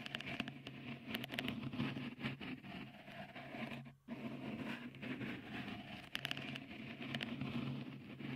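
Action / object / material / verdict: scrape / textured silicone microphone cover / silicone / none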